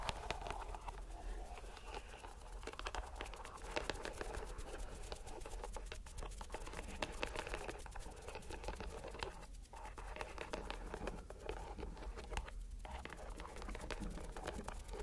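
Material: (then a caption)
Rubber. A green rubber stress ball inside a white mesh net is squeezed by hand, giving a steady stream of soft, quiet crinkling and squishing sounds with brief scratchy clicks. The sound stays low in level throughout, with a dull low-end rumble beneath the texture.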